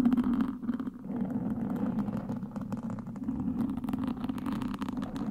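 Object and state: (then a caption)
Foam microphone windscreen scratched with sticks. Two long wooden sticks scratch across the black foam windscreen of a microphone from both sides. The result is a continuous close, scratchy rustling over a steady low droning band, with brief dips in level before it swells back up.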